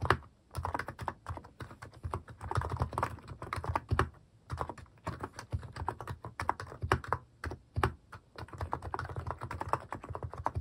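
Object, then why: Plastic mechanical keyboard. Fingertips type on a white-case Hanmumu mechanical keyboard with pastel plastic cat- and paw-shaped keycaps, resting on a wrist rest. Dense runs of short, dull, low-pitched keystroke clacks come in bursts separated by brief pauses, each click dying away almost instantly.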